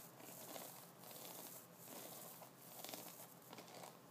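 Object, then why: Wooden brush with synthetic bristles. Fingertips of both hands scratch and flick a double-sided brush held upright, which has a wooden body, white synthetic bristles on one side and wooden nubs on the other. A quiet, steady, bright scratchy crinkle swells and fades in waves, with a few sharper light flicks rising above it.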